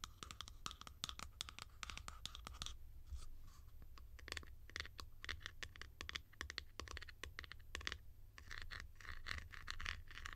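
Long nails scratch the sides and textured top of a hollow blue plastic cap. The result is a quick, continuous run of dry, scratchy strokes, bright and centred around 2 kHz, over a steady low rumble.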